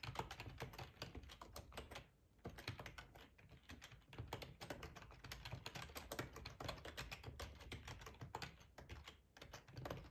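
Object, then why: Plastic computer keyboard. Fingertips type steadily on a black plastic ergonomic split keyboard with a hollow housing, resting on a cloth tablecloth. Rapid, dense clacks sound with a low, hollow thump under bright, short clicks that die away almost instantly. A brief lull comes at about two seconds and another near nine seconds.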